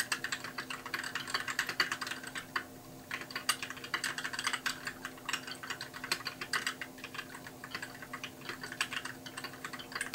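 Both hands type steadily with their fingertips on a compact white mechanical keyboard with plastic keycaps and backlit keys, resting on a desk. A dense, continuous run of bright, sharp clicks and taps centers around 2 kHz, each decaying almost instantly, with a brief pause near three seconds. A faint steady low hum runs underneath.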